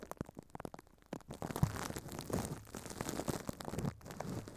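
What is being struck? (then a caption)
Thin plastic film over a microphone head. Furry puppet hands crumple and crinkle thin clear plastic film wrapped over a microphone head. It starts as sparse, sharp crackling ticks, then builds into dense, continuous crunchy rustling with a heavy low-end thump and only faint highs.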